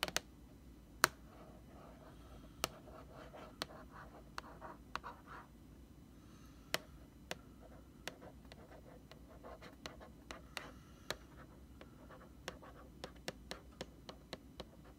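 A single long nail scratches and traces across the paper or plastic front label of a large white plastic Lysol laundry sanitizer jug. Soft, dry scratching rasps along in patches under a low, steady hum, broken by about twenty sharp, bright ticks that stop instantly with no ring.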